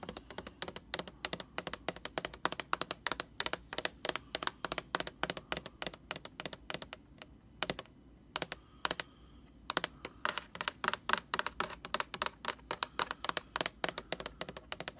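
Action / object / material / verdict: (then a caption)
tap / plastic laundry bottle / plastic / none. Long orange nails tap on the front label of a large, hollow, upright white plastic Lysol laundry sanitizer bottle. The result is a rapid run of dry, bright, clicky taps that die away almost instantly, with brief pauses around the middle before the quick tapping resumes.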